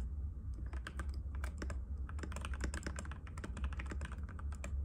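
Fingertips of both hands type rapidly and continuously on a compact cream-white mechanical keyboard with plastic keycaps and a hollow case, resting on a glass table. Quick, sharp clacky taps run unbroken over a steady low hum.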